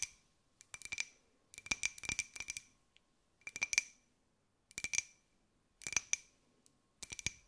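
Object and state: Ceramic jar tapped with fingernails.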